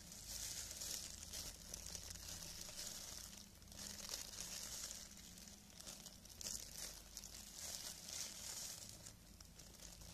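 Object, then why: Thin plastic film gloves. Thin, clear cellophane plastic film gloves are worn on both hands while the fingers flex and rub together. The film gives off a continuous bright, crackly crinkling that swells and eases in waves throughout, over a faint steady low hum.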